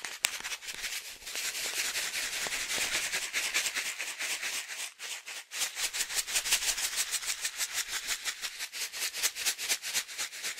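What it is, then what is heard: Coffee-filled foil bag being shaken. A foil-laminate coffee pouch filled with coffee is held in one hand and shaken vigorously from side to side. The result is a dense, bright, crinkly rattle of rapid rhythmic pulses, with almost no low end. It dips briefly around the five-second mark, then resumes just as steadily.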